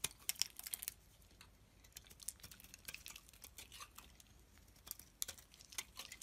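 A solid beige soap bar held in the hand is scraped with a metal blade into curls. The sound is a quiet series of crisp, bright scraping and crackling strokes, almost all high-pitched with very little low end, each dying away at once.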